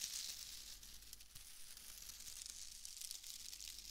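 A loose, fist-sized bundle of pale shredded wood wool (excelsior), light and airy, is squeezed and crumpled by fingertips with long nails right beside a binaural microphone. It makes a continuous dry, bright crackling and rustling, like fine tearing, with faint low rumble underneath and no distinct separate hits.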